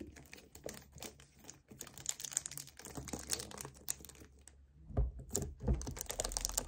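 A hollow 1 L white plastic kefir bottle is held and tilted in the hands while fingertips grip, tap and scratch it. Quick, irregular crinkly clicks and bright scratching rustles sit over a steady low hum, with a couple of louder, fuller taps near the end.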